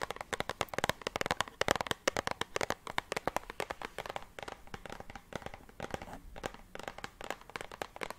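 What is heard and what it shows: Long red-painted nails tap and scratch a small, hollow, pink printed cardboard Agent Provocateur Fatale Pink perfume box held in both hands. The result is a rapid, dense stream of dry, crisp clicks and scratchy crinkles with no ring, loudest in the first two seconds and then softer and sparser.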